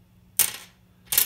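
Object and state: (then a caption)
Bone guitar nut, dull-sounding. A bone guitar nut is tapped or dropped twice. Each strike gives a bright, high-pitched click with a short, dull decay and little ring, a dead-sounding tone.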